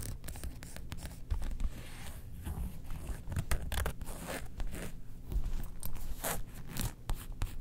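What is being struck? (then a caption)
Faux leather zip wallet. Long nails scratch across the printed front of a closed, rectangular printed faux leather Star Wars zip wallet. Each short, dry scratching stroke carries a bright rasp over a soft, low body. The strokes come in quick uneven bursts with almost no ring between them.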